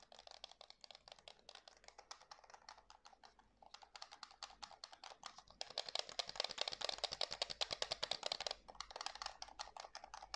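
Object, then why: Plastic game controller. A white and black plastic DualSense PS5 controller, a hand-sized hollow shell, is held in both hands while fingertips click its buttons and tap its plastic surface. The result is a fast, uneven stream of sharp, dry, bright clicks with almost no low end and no ring. The clicking grows louder and denser in the middle before easing off slightly at the end.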